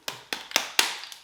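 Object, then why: Aerosol spray paint can with mixing ball. A 2K aerosol spray paint can is shaken, and the mixing ball inside rattles in six sharp, bright clicks that fade quickly. The ball is clearly audible, as it should be.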